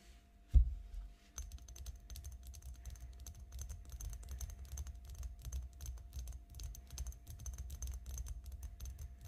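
Long nails tap along an elongated glass perfume bottle, partly filled with pink liquid, lying flat on a table. A single heavier knock comes first, then after a brief pause a rapid, steady stream of light, dull taps with faint bright clicks continues to the end.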